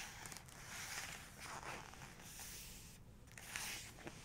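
Long nails tap and trace across the paper of an open photography book laid flat on a two-page panoramic spread. Quiet, bright, scratchy swishes of the nails sliding over the page are broken by a few soft, short taps.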